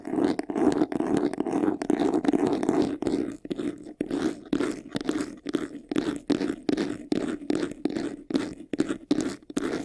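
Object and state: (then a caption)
Faux leather jewelry box, scratched. Fingernails scratch fast across the textured side panel of a closed, hollow, medium-sized white faux-leather jewelry box. The scratching starts as a dense, continuous rasp and then breaks into quick, separate strokes, each carrying a low hollow resonance from the box.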